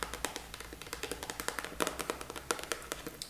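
A small, flat, hollow pink printed cardboard box held in one hand is tapped rapidly with long nails. About 25 quick, dry, papery taps follow one another with short ringing, a hollow mid tone around 630 Hz and a bright crisp edge on each tap.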